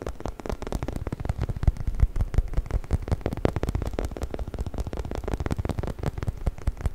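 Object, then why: Hollow rubber chicken toy. A hollow, orange, textured rubber chicken toy is held upright close to the mic while its surface is scratched with fingernails and rubbed with fingertips. The result is a dense, irregular stream of quick, dull scratches and soft thumps, heavy in low rumble with almost no bright top end, over steady background noise.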